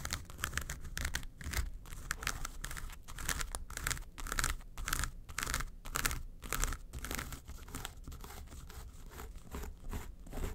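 Long nails scratch the front face of a small, hollow, yellow textured faux-leather makeup suitcase. The result is rapid, irregular bursts of dry, crackly scratching with bright, papery edges over a soft low thump from the hollow case.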